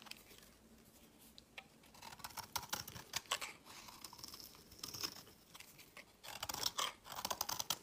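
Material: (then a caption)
Soap. A solid white, hand-sized rectangular embossed soap bar is scraped with a utility knife blade, shaving off fluffy flakes. The sound is a quiet run of short, bright, crisp scraping and crackling strokes with almost no low end. The strokes come in bursts that grow denser and louder toward the end.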